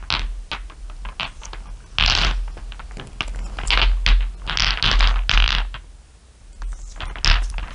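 Long nails tap and scratch over a pile of small, solid, dark glass marbles resting on fur. The result is an irregular run of quick clicks and brighter scraping bursts over a steady low rumble, with a quieter stretch near the end before the tapping picks up again.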